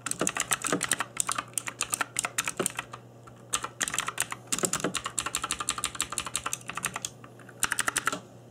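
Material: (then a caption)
Plastic. Fingertips in black nitrile gloves type on a cheap RGB-backlit mechanical keyboard with plastic keycaps. Bursts of short, bright, clacky key taps are broken by brief pauses, over a faint steady low hum.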